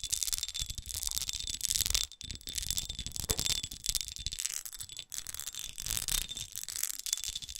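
Long acrylic nails tap and scratch the textured faces of a hand-sized, red, studded, faceted glass perfume bottle with a black cap, appearing partly filled. Dense, bright clicking and scraping fill the clip in quick bursts, with a thin high tonal ring and a few brief pauses.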